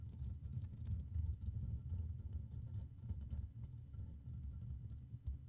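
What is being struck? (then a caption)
Metal mesh microphone grille. Fingertips of both hands scratch and tap continuously around the hollow black metal mesh grille of a Blue Yeti microphone. The result is a dense, low, muffled rumbling texture with soft irregular patter and faint bright ticks on top.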